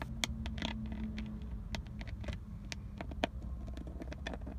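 Long decorated acrylic nails tap and scratch on the textured black plastic airbag cover and chrome emblem of a Nissan steering wheel centre, which is solid and fixed. The result is a run of short, dry, bright clicks with quick scratchy strokes between them, over a steady low rumble.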